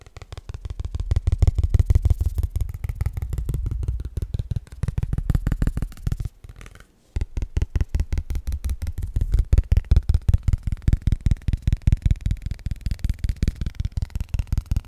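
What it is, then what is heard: Cardstock trading card. A single thin cardstock Pokémon trading card, flat and solid, is held up in both hands in front of the mic and tapped quickly with fingertips and nails. The result is a rapid, steady stream of dull, bassy thumps with almost no ring, broken by a brief pause around the seven-second mark before the fast tapping resumes.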